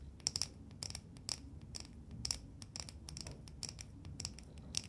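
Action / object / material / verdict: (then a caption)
tap / lacquered wooden nesting doll / lacquered wood / none. A small, hollow painted and lacquered wooden matryoshka nesting doll is held in both hands and tapped and scratched with long nails. The result is a run of quick, dry, bright clicks and scratches over a soft low rumble.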